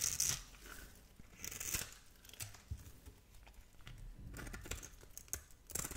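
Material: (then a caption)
Soap. A metal blade scrapes small cubes off a palm-sized, solid purple and pink striped bar of soap held in a hand with long nails. Bright, crisp scraping and crumbly tearing sounds come in uneven bursts, with soft low thuds between them as the pieces break away.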